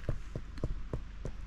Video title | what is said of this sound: 19. Look at this Lobster Mushroom! Homestead Forager Vlog | it's heavy and hard what's it sound like when you tap it sounds like wood